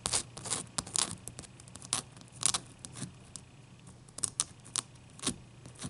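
Long dark-painted nails scratch and tap a clear solid ice cube resting on a towel. Sharp, bright clicks and short scratchy rasps come in irregular bursts over a faint, steady low hum.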